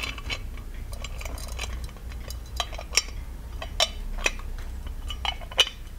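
Fingertips tap and scratch the lid and body of a small, ornate, hollow gold-plated metal genie lamp held in both hands. Light, bright metallic clinks and ticks, pitched around 3 kHz, die away almost instantly over a soft scratching texture. A low, steady hum sits underneath throughout.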